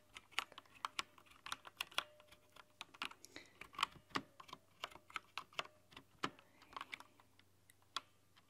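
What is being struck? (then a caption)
Plastic mechanical keyboard keys. Long nails tap across a mechanical keyboard with translucent plastic keycaps and a cyan-to-green backlight. About 29 sharp, bright clicks come in an uneven, rapid run, each dying away instantly over a faint low hum.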